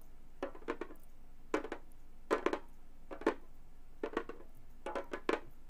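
A Remo frame drum about 30 cm across, with a thin synthetic Fiberskyn-style head over a hollow frame, lies flat and is tapped and drummed by both hands wearing long gold metal claw finger caps. Quick clicky taps with a hollow mid-range tone come in about six short clustered rolls, each dying away almost instantly against a quiet background.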